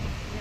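On a Toyota Innova, the tire is gripped at the top and bottom and shaken, producing a single short clunk near the end over a low, steady background rumble. The clunk reveals heavy play in the worn metal upper ball joint, loose enough to be plainly visible without holding the tire.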